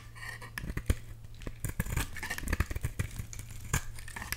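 A box-cutter blade shaves thin slices from a solid orange bar of soap, making a quick run of crisp, bright scraping and crackling strokes. A steady low hum runs underneath.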